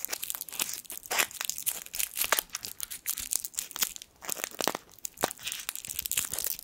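A small gold foil sweet wrapper is crinkled between the fingertips of both hands. Dense, bright crackling and crinkling comes in quick bursts with almost no low end, and the sound briefly drops off around the four-second mark before resuming.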